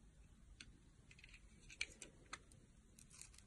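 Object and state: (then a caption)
Soap bar being carved. A box-cutter blade scrapes and carves curls from the edge of a palm-sized, solid oval soap bar with gold glitter and an embossed logo, held in a hand with long nails. Quiet, bright, crisp scraping ticks come at an irregular pace, with a couple of sharper clicks standing out over a soft low background.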